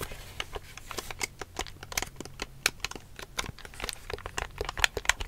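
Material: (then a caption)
Plastic. Long fingernails tap and scratch the casing and screen of a large, hollow black plastic Wii U GamePad held in both hands. The result is a rapid, irregular stream of short, crisp, bright clicks, about four per second, mixed with faint scratchy rustling. A quiet, steady low hum runs underneath.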